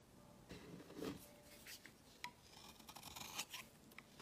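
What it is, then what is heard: Bar soap being shaved. A palm-sized solid white soap bar is held in the hand and scraped and shaved with a steel utility-knife blade, curling off shavings while a black soap bar sits untouched on the table. Quiet, bright scraping strokes and short crisp shaving clicks come in uneven bursts.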